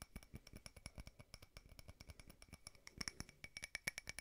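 A small frosted glass votive holder with a candle inside is tapped rapidly with several fingernails, giving about 29 quick, dry clicks with a bright glassy tone near 2.2 kHz. Each tap dies away almost at once, and the last second is a little louder and ringier.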